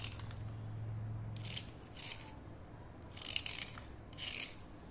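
A thin, solid slate pencil held by hand is scraped downward again and again with a utility knife blade, spraying fine dust. Each stroke makes a short, bright, gritty rasp, heard over a steady low hum that fades after the first second and a half.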